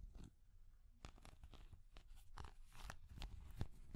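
A small, translucent orange hard plastic cat figure is tapped and scratched with long nails. The result is a quiet, irregular run of crisp clicks and crunchy scratching over soft low thumps, each sound dying away almost instantly.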